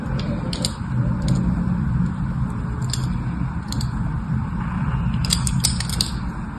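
A thin metal tool, guided by a hand with long white nails, scratches and scores diagonal grooves across the face of a solid, rectangular, palm-sized pink bar of soap held in the hand. A steady low rumble fills the clip, with short, bright, scratchy crackles scattered throughout and clustering more densely near the end.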